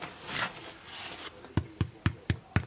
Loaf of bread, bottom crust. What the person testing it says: You thump it, it sounds hollow.